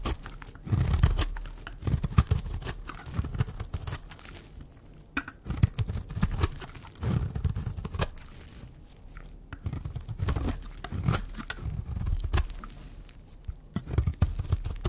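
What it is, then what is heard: Dry bar soap. A pink, round, solid bar of dry soap held in the hand is scraped with a utility knife blade and cut with scissors. The result is a dense run of dry, crunchy scraping and cutting sounds, mostly low in tone with brief bright crackles, coming in bursts with short pauses.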